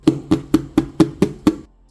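Seven evenly spaced dull taps on the body of a fake vintage-style Dooney & Bourke handbag made of polyurethane faux leather with a fabric lining, not real leather. Each tap is a short, hollow, plastic-sounding knock with almost no ring. The plastic sound marks the bag as fake.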